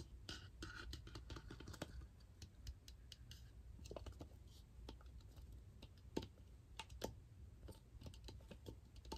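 A large hollow plastic toy egg with a crackle-pattern surface is held in both hands and tapped and scratched with fingernails. Quiet, rapid, sharp clicks and brief scratchy strokes sound over a soft low hum, each tap dying away almost instantly.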